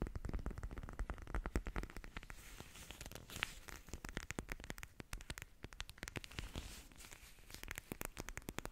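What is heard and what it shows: Long painted nails scratch the sparkly textured front of a small, soft pink fabric "MEOW" cat sleep mask with a glitter patch, held in both hands in front of the mic. Rapid, dense crackly scratches and crinkling ticks sit over a soft, low rumble from the handling.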